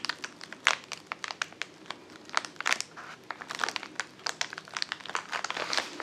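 A filled white-and-blue plastic poly mailer lying flat on a table is pressed and crinkled with the fingertips of both hands. Rapid, dry crinkles and sharp little crackles come in irregular bursts, bright and papery with almost no low end, each snap dying away instantly.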